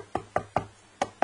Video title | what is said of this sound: Lucanus cervus akbesianus - Searching for larvae | Can't open it too hard, but it sounds hollow inside